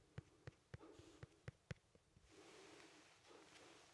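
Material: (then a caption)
Citrus fruit. A small, solid, whole fresh yellow lemon is held in one hand and poked and scratched with the tip of a wooden pencil. Six quiet, sharp taps with a low thud land over the first two seconds, then give way to a soft, steady, bright scratching that continues to the end.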